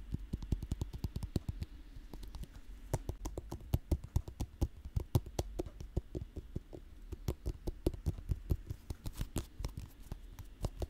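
A whole, hand-length elongated green fruit with smooth-to-slightly-bumpy skin is held against a microphone and tapped and scratched with long manicured nails. Dozens of quick, dull, low thumps follow one another closely, each dying away almost instantly, with a faint scratchy texture between them.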